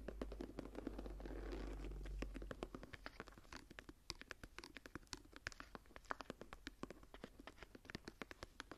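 Long dark-painted nails and fingertips scratch and rub the raised texture of a large closed journal, its dark brown leather cover embossed in a geometric star pattern and held tilted. The first two seconds are a dense, steady rubbing over a low hum, then it turns into quick, uneven, crisp clicks and ticks of nails catching on the embossed ridges, about three per second.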